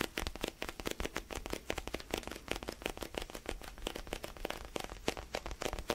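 Fingertips tap and scratch the surface of a palm-sized, solid orange basketball-style foam stress ball. A rapid, steady run of soft, dry taps and brief scratchy crackles with a bright edge. Each touch dies away almost at once.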